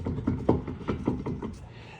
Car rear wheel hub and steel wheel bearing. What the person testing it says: I'm shaking it. That bearing's all wobbly.